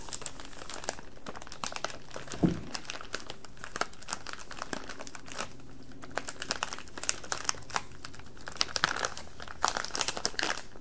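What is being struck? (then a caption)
Flexible plastic candy bag. A colorful, flexible plastic candy bag about 30 cm long, full of sour straw candy, is held in both hands and squeezed and rubbed with the fingertips. It gives off a continuous stream of sharp, bright crinkles and crackles with many quick snaps, over a faint steady low hum.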